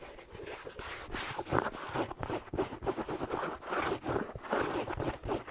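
A red plaid, fleece-lined slipper with a black rubber sole is held sideways while fingertips rub and scratch its sole and side, with sparse taps mixed in. The sound is a dry, continuous mid-range scratching and rustling, broken by short, soft taps that stop almost at once.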